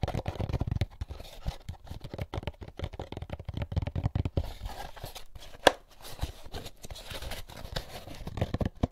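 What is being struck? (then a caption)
Molded paper pulp egg carton. An empty, hollow, white molded paper-pulp egg carton is turned in both hands while fingertips tap and rub its sides. The result is a dense run of dry, papery scratching, crinkling and soft hollow taps with a strong low-end thump, plus one sharper tap near the middle.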